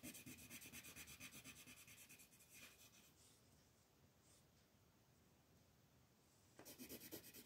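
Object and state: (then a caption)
Colored pencil rubbing on paper. A gold wooden colored pencil rubs vigorously back and forth across a flat white paper mandala coloring sheet held by fingertips. The result is fast, bright, scratchy strokes for about three seconds, then a quieter, softer stretch of rubbing. The strokes become vigorous and loud again near the end.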